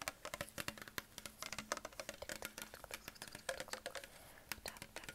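A hollow green Perrier PET plastic sparkling water bottle is tapped with fingertips and short nails on its neck and label. A rapid, irregular run of short, bright clicky taps is heard, each with a faint hollow tone around 530 Hz that dies away almost at once.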